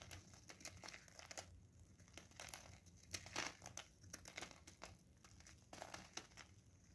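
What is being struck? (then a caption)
Soap bar shaved with a blade. A solid blue bar of soap, held in gloved hands, is shaved with a craft knife blade, and curls and flakes fall onto paper. A series of quiet, crisp scraping and crinkling strokes are heard, bright and dry with almost no ring.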